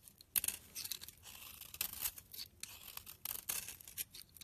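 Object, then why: Soap bar. A utility knife blade shaves thin layers and powdery flakes off the surface of a solid, rancid pink soap bar held in the hand. The result is a series of quiet, dry, crisp scraping strokes that are almost entirely bright and high-pitched, with very little low end.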